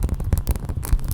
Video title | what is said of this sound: 40 Textures & Materials!! Part 1 (items 1-20) * Soft Spoken * Up Close Fast Tapping & Scratching | kind of a rubber, a silicone type sound